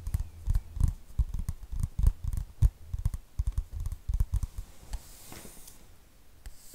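Fingertips and nails tap and scratch across the card cover of a light green printed paperback book held flat near the mic. A rapid, uneven run of dull, low, close-up taps fills the first few seconds, then thins into softer, brushing scratches with a faint high hiss toward the end.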